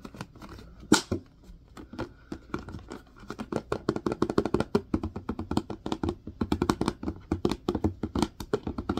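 A large clear plastic Purell hand sanitizer bottle with a white cap, partly full of green gel, is held in the hands and tapped and scratched with the fingertips and nails. The result is a quick, irregular run of dozens of short, dry plastic taps and clicks. Each tap dies almost at once, with a hollow body around 300 Hz, a little scratchy brightness, and one sharper, louder tap near the start.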